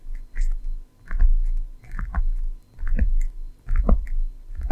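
Long manicured nails tap and scratch across the top flap of a closed, hollow, medium red handbag of leather or faux leather with chevron quilting, resting on a table. The result is a loose, irregular series of soft, deep thumps, with short crisp clicks and scratchy rustling mixed in.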